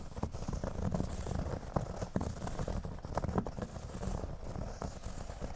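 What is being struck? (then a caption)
Thin cork board. Fingernails scratch across a flat, thin, solid cork board lying on a table, briefly working along its top edge. The sound is a steady, dry, low-heavy rasping rustle broken by short, sharp clicky spikes. It has almost no brightness and no ring after each stroke.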